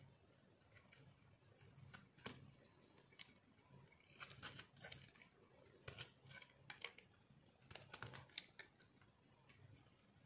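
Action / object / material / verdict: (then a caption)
scrape / soap bar scraped by a metal knife blade / soap / none. A metal knife blade scrapes and shaves the surface of a solid, oval, peach-orange speckled dry soap bar held in one hand. Short, crisp crunching scrapes with a bright, dry edge come in irregular bursts over a faint low hum, each dying away almost instantly.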